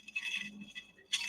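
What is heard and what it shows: Ice rattles inside an aluminum cup as it is shaken by hand, giving bright, clinking bursts with almost no low end. Short jingly shakes come in separate bursts, with a loud one at the start and another at the end.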